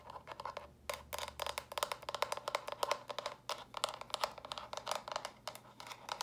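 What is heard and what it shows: Long nails quickly tap and scratch the smooth sides of small, hollow, stacked plastic brick storage boxes in pink, lilac and purple. The result is a dense run of short, bright clicks with a hollow tone around 580 Hz, mixed with light scratchy rasps. Each tap dies away almost at once.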